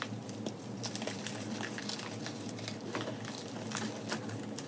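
Fingertips and long nails dig into loose pink-white crumbled gym chalk (magnesium carbonate) powder with small lumps in a white plastic tub, crushing it and letting it fall. A steady crunchy patter of soft crackles and brighter grainy ticks runs throughout over a low, constant hum.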